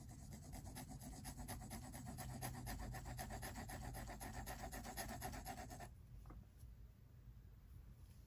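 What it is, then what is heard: Pencil scratching on a sketchbook page. A pink mechanical pencil rubs and scratches lines near the edge of a drawing on white paper in a spiral-bound sketchbook resting on a table. Quick, steady back-and-forth strokes, about four per second, make a soft, dry scratching texture for about six seconds, then the strokes stop and only faint quiet rustling remains.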